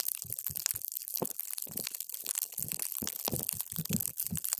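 A paper straw is pushed down into a clear plastic cup full of multicolored water gel beads, crushing them. A dense run of wet, squishy crunches and crackles is heard, with bright, hissing high end and soft low thumps as the beads give way under the straw.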